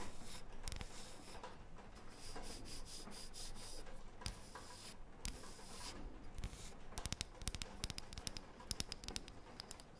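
A thin, round, light, solid wooden disc held in the hands is rubbed and scratched with long painted fingernails. Soft, dry scraping and rubbing fills the first part, then gives way to quick, sharp clicking scratches toward the end.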